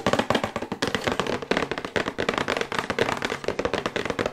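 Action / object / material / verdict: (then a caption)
tap / thin printed cardboard box / cardboard / none. A thin, glossy printed cardboard box for a sonic toothbrush, held upright, is tapped quickly with long white acrylic nails. The clip is a fast, continuous run of short, dry, hollow clicks and taps with very little ring after each one.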